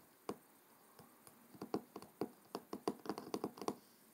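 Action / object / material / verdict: tap / cloth-covered hardcover book / cloth and board / none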